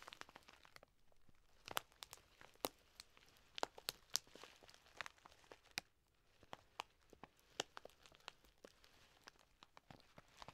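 A large, full plastic bag of dry green lentils is held in both hands, squeezed and scratched with long nails. Sharp, bright crinkles and crunches pop out irregularly over a quiet, steady rustle. Each snap dies away almost at once.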